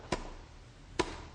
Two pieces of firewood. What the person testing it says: when you do that with wet wood which I have here ... it creates a a dull thud